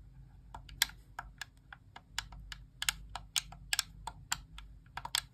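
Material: Plastic.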